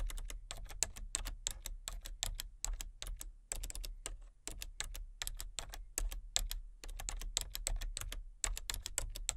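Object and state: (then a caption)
Plastic computer keyboard being typed on. Long-nailed fingertips tap the keys of a full-size plastic computer keyboard with color-changing backlit keys and a hollow body, one hand on the letter keys and one on the number pad. Crisp, bright plastic clicks arrive in quick, uneven bursts with short pauses, each dying away almost instantly. A steady low hum sits underneath throughout.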